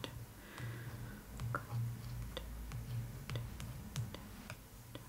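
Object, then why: Hardcover book with glossy paper cover. Long nails tap along the top edge of the glossy paper front cover of a large closed hardcover art book, The Art of Spirited Away, lying on cloth. Quick, bright, irregular clicks sound over a steady low hum.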